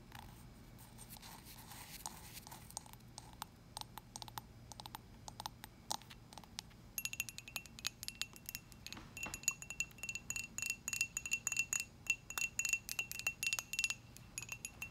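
Long acrylic nails tap on the side and rim of a small, dark, glazed, hollow ceramic mug with a handle. The taps are bright, short clinks with a faint high ring that dies away almost at once. They start soft and sparse, then come faster and louder from about seven seconds on, in an uneven rhythm.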